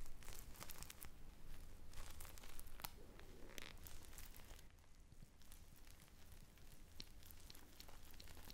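A purple-glazed polyurethane foam ice cream squishy with sprinkles and a stick, made of solid soft foam, is squeezed and scratched with long brown nails. Close, dense scratching, crinkling and tearing-like crackles run continuously over a steady low hum, with brief bright clicks scattered throughout.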